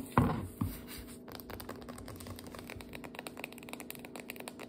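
A full biscuit dough can, a paper-labeled cardboard tube with metal ends, stands upright while long nails tap and scratch along its sides and top rim. Two dull, low knocks open the clip, followed by a steady stream of soft, quick tapping and scratchy clicks with a faint low hum.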